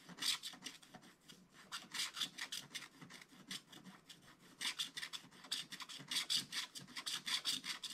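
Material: Coated paper.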